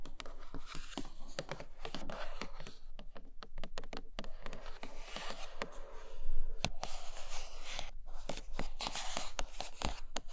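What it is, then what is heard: Cardboard box tapped and scratched. Long nails tap and scratch the top and sides of a large white iPad Pro cardboard box, seen from its underside. Many quick, dry taps mix with crinkly scratching over a low, steady rumble, and the sound stays fairly even at a soft level.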